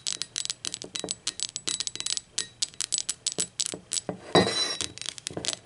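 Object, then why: Ceramic mug tapped with fingernails. Long acrylic nails tap and scratch a blue speckled ceramic mug lying on its side, working over its printed base and body. A quick run of about thirty bright, clicky taps with short ringing tails, broken past the middle by a louder, sustained scratching burst, before the light tapping resumes.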